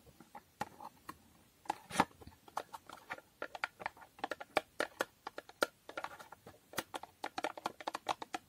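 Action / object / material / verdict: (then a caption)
tap / small cardboard box with foil finish / cardboard / none. A small hollow cardboard box with a holographic foil finish is tapped with long nails and turned to show its narrow side. About three dozen quick, dry, light taps patter in an uneven rhythm, each one crisp and papery with a hollow midrange knock and almost no low end. Each tap dies away almost instantly.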